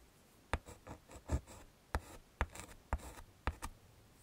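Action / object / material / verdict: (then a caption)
scrape / chalk stick on a wood-framed chalkboard / chalk / none. A yellow chalk stick is scraped across a small flat black chalkboard in a wooden frame, drawing flower centres and stems. Sharp, dry taps mark each stroke's start, followed by short, gritty scratching strokes with a low thump beneath them. Brief pauses fall between strokes.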